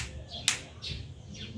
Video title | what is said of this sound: ANG KAKAIBANG NAKUHA NG MANDARAGAT | kung pakinggan nyo, parang bato, no? Bato talaga.